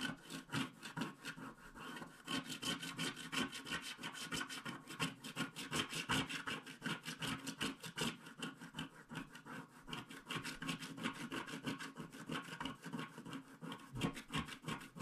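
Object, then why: Black-coated paper scratch card scraped with a wooden stylus. A wooden stylus scratches the coating off a flat, black-coated paper scratch card around a unicorn's mane in rapid strokes. A quiet, continuous series of dry, rasping scratches repeats at a quick, uneven pace, each with a bright papery hiss.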